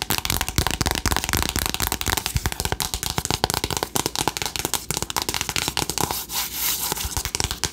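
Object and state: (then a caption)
Cardboard eyeshadow palette tapped with nails. Long acrylic nails tap rapidly on the front cover of a flat, rectangular, hollow cardboard eyeshadow palette named "Remember Me", which has pans inside. The result is a dense run of short, dry, crackly taps with almost no ring, bright in the upper range with a light hollow knock underneath.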